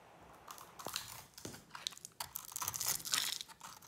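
A utility knife blade scrapes the purple coating and white inside off a solid, dry bar of soap. The sound is a run of dry, crisp crunching and scratching strokes, mostly bright and high with almost no low end. The strokes get denser and louder toward the end.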